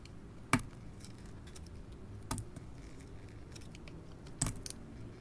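A craft knife blade scrapes and peels the coating off a small, solid oval soap bar, held in the hand, that is coated in silver and blue paint with copper glitter. Three sharp, bright scraping clicks stand out over a steady low rumble, with softer crackling scratches between them as the coating flakes away.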